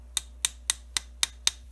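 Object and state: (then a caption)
Metal oscilloscope probe body. A $46 oscilloscope probe with a body that sounds like metal is tapped six times at an even pace. Each tap gives a short, bright click centered in the high frequencies with almost no ring, so the body sounds like metal rather than cheap plastic.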